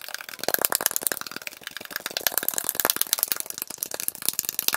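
A tall, hollow aluminum Arizona iced tea can, possibly holding some liquid, is tapped with fingertips and shaken. It gives a rapid, continuous run of bright, sharp metallic clicks and light rattles with almost no low end, each tap dying out almost instantly.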